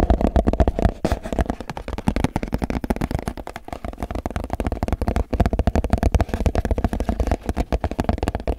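An empty clear plastic food container is held up and tilted while fingertips tap and scratch its base and sides. The result is a fast, continuous run of short, dull, bass-heavy taps that die away almost at once, mixed with soft scratching.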